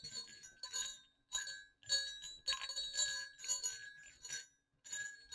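Two small, hollow, silver metal jingle bells on a cord are knocked against each other, making bright, quick clinks and dings. They come in irregular bursts with short gaps of silence, each with a brief high, glassy ring that fades fast.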